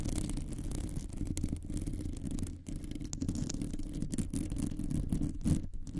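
Long nails of both hands rapidly scratch the rounded, hollow metal mesh grille of a microphone. The result is a dense, continuous, low rumbling scrape with a faint bright rasp on top, briefly dipping near the middle before resuming.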